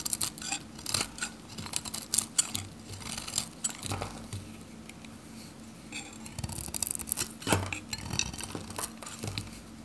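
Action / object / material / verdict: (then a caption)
scrape / bar of soap cut with a metal blade / soap / none. A metal utility knife shaves flakes off a hand-held, solid, pink dry bar of varnished Godrej No.1 soap. Crisp, bright scraping and cutting strokes come in quick, dry bursts with clicky edges and almost no ring, over a faint steady low hum.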